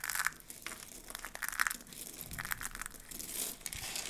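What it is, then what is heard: Dry soap flakes being crushed. Fingers rake through and crush a heap of mixed dry soap flakes, making a steady stream of brittle crunching and crinkling with bright, crisp edges. The sound is dense and continuous rather than a set of separate hits, with small bursts of louder crackle throughout.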